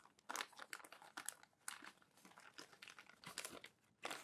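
Fingertips and palms rub crumpled glossy paper magazine pages flat and flip them. The result is bursts of dry, crisp crinkling and crackling, bright and hissy with almost no low end, separated by softer rustling.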